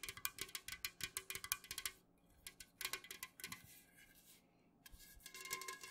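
Long nails of both hands tap quickly on the sides of an unopened, full Jumex Guava Nectar aluminum can, first held tilted and then standing upright. Bright, short clicky taps come in rapid bursts, broken by brief quiet pauses.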